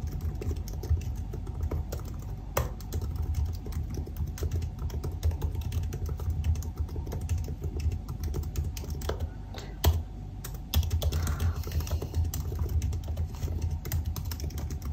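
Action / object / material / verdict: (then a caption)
tap / aluminium laptop keyboard with plastic keys / plastic / none. Rapid fingertip typing with both hands on the black plastic keys of a silver aluminium laptop keyboard produces a steady stream of soft, dull key taps. The clicks are mostly low and muffled, with occasional sharper, brighter taps standing out against the continuous patter.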